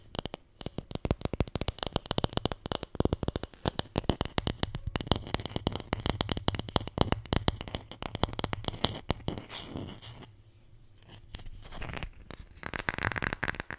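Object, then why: Small wooden letter tile. A wooden Scrabble letter tile, the J, is tapped rapidly with dense, crisp clicks for about nine seconds. The taps then give way to a quieter stretch and soft scratching on the tile, ending in a brighter, raspy scratch.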